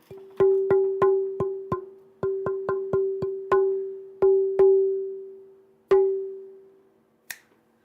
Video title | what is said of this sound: RSW LIVE Shop Talk 109 More Great Questions and Topics Today and much more | did you hear how high that note is it sounds like you're tapping on metal